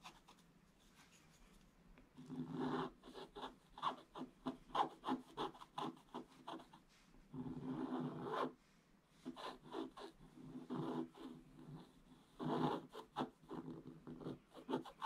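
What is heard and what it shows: A pointed wooden stick held in the fingers scratches and rubs across a flat, solid, black-coated scratch-art page in a book. Quiet, dry scratching strokes come in short bursts, with a few longer continuous rubs near the start, middle and end. The sound is a soft, papery rasp centred in the mids.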